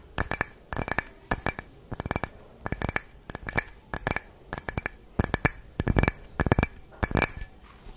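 A small, hollow, clear glass drinking cup that looks empty is held up close in both hands and tapped and scratched with long fingernails. Quick bursts of short, bright clinks and ticks come in repeated clusters with quiet gaps between them. Each hit dies away almost instantly.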